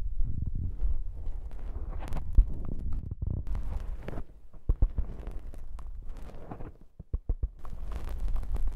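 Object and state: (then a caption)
Foam microphone windscreen being squeezed and scratched. Fingers squeeze and scratch a black foam windscreen on a handheld microphone. The result is a close, muffled, rumbling squish with crackly scratching bursts and short, sharp clicks, almost all of it deep and low.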